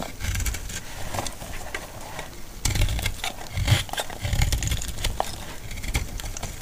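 A utility blade carves curled flakes from the surface of a solid, dry green laundry soap bar held in the palm. A steady run of crisp, dry scraping and crackling strokes sounds over a low, dull rumble, with a few louder, sharper cuts standing out.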